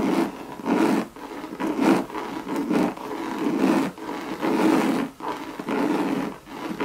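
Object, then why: Coated canvas handbag. Long red nails scratch the coated-canvas body of a hollow Louis Vuitton monogram bucket bag. The result is a series of rough, raspy scratching strokes that swell and fade with a hollow, midrange body and little low or high content.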